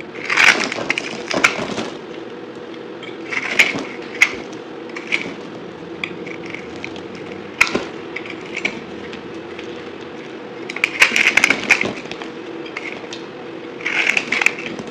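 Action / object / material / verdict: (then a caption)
scrape / bar of soap cut with a metal knife / soap / none. A solid white bar of soap with a blue glittery coating is held in one hand and cut and scraped into small chunks with a metal knife, the pieces falling onto a white surface. Bright, crisp crackling and crunching scrapes come in repeated bursts over a steady low hum.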